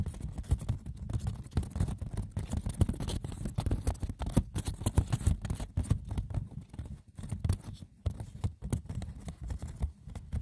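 Fingers scratch and tap the textured woven surface of a wicker basket, with no talking. A dense, continuous patter of light, dry clicks and scratches is heard, mostly low-weighted with brief bright edges and no ringing.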